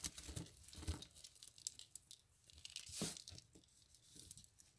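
Fingers squeeze, snap and crush a small cluster of hollow, dry soap curls resting on soap flakes. The result is a series of quiet, irregular crisp crackles and crunches with bright, papery texture and soft low thumps, with a louder crunch near the start and another near the end.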